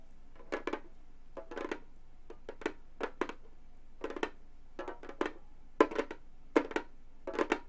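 Gold metal finger claws on both hands tap and click on a round, hollow Remo frame drum with a textured synthetic skin head, lying flat, while jewelry chains on the hands may jingle slightly. Short, dry taps with a midrange body and bright clicky edges arrive in irregular quick clusters, each dying away almost at once against a quiet background.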